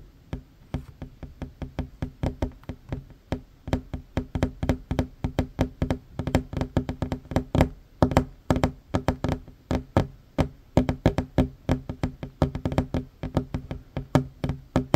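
One hand fast-taps a flat, solid wooden tabletop with short fingernails, making 66 quick, dull knocks over fifteen seconds. Each tap is low and woody, centered around 258 Hz with a bit of bright click. The sound dies almost instantly, leaving a steady, uneven drumming rhythm.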